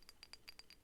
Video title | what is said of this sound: 🍐 MESSAGES FROM THE FAERIES 🍊 GOBLIN MARKET 🍓 TAROT READING 🫐 | it's just this Angelic tapping sound